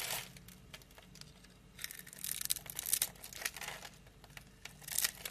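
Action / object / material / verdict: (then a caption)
scrape / scored soap bar / soap / none. A knife blade scrapes across a solid orange soap bar, pre-scored in a grid and held in hand, breaking off small cubes. The sound is dry, crisp scraping and crumbly crackling, bright and high, in quiet bursts that swell louder in the middle and near the end.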